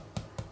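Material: Bread.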